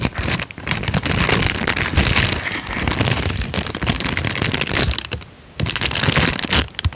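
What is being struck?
Folded paper sheet.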